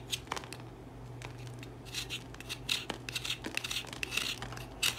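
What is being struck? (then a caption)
Solid bar of soap scraped with a serrated metal comb. A solid cream Dettol bar soap is held in the hand and scraped repeatedly across its surface with a serrated metal comb tool on a wooden handle. The result is a run of short, bright, crisp scratching strokes with a faint steady low hum beneath.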